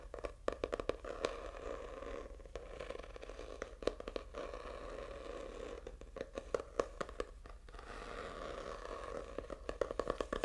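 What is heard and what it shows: Fingertips and short nails scratch the faux snakeskin textured hard cover of a purple notebook that is held up. A steady, close, dry scraping rasp is heard, centered around the midrange and broken by many sharp clicks and quick taps.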